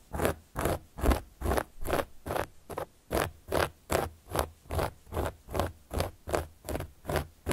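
A carving tool, held in a hand with long yellow and black nails, scratches and traces across a large, round, solid cork board or coaster lying flat. The clip is a steady run of rhythmic, evenly spaced scraping strokes, each a soft, dry rasp with a low thud underneath and a bright, airy hiss on top.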